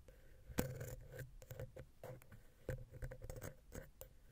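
A wooden ear pick, held vertically, taps and scratches between the heads of the small, hollow silver metal X/Y microphone capsule on a Zoom H6. It makes irregular soft, dull knocks and scrapes with heavy low thumps and a faint ringing tone near 500 Hz, each dying away almost at once.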